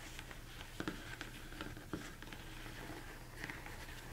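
Fingers tap and scratch the dome of a large, hollow, empty mixing bowl, likely plastic, turned upside down. Soft, short hollow knocks with a low tone die away quickly, mixed with light scratching over a steady low hum.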